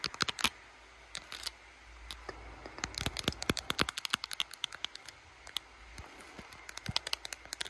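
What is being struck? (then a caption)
Smartphone in a plastic case. Long blue acrylic nails rapidly tap and scratch the back of a handheld smartphone, seen in a mirror, in a clear glitter plastic case with butterfly decorations, including the camera lens area. Quick bursts of sharp, bright plastic clicks with almost no ring are broken by short pauses of faint scratchy rustle. The taps stay crisp and clicky, with little low end.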